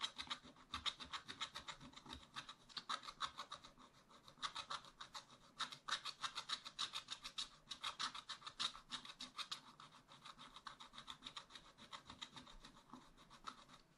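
A wooden stylus rubs and scratches quick back-and-forth strokes across the coating of a black scratch-art paper page in a spiral-bound pad, near a raccoon drawing. The result is a steady run of dry, bright, hissy scrapes, about three to four strokes per second, with sharp short attacks and almost no low end.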